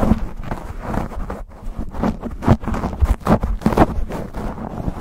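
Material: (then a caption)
Foam. Fingertips and nails scratch and rub fast and hard on a black foam windscreen fitted over a microphone. The result is a dense, muffled stream of scraping and thumping bursts, heavy in low rumble with almost no high end.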